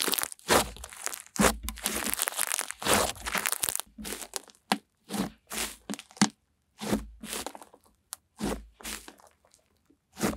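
Pink slime is squeezed and folded in the hands, then pressed flat with both palms and long nails. It gives dense crackling, crunching and crinkling bursts that start near-continuous, then separate into short bright pops with silent gaps toward the end.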